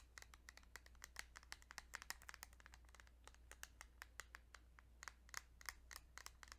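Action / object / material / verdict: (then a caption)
tap / plastic handheld game cartridge / plastic / none. Fingertips or nails tap rapidly and unevenly on a plastic Kirby's Dream Land 2 Game Boy cartridge, making a long series of sharp, dry, bright clicks that die away almost instantly. A steady low hum runs underneath throughout.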